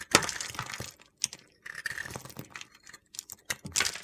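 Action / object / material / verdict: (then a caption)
scrape / glitter-coated bar soap / soap / none. A solid white soap bar coated in gold glitter is shaved with a metal utility knife blade held against the fingers. The blade makes crisp, gritty, crackling scrapes in short bursts separated by brief silences, bright and high-pitched with little low end.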